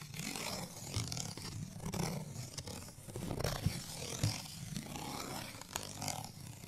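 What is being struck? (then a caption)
Small cardstock tag scratched with fingernails. A small, thin, flat printed cardstock bottle tag for Giarola Grappa Oro is held in the hand and scratched with medium-length natural nails. The result is a steady, rough, papery scraping with a low rumbling body and a bright hiss, broken by a few sharp clicks.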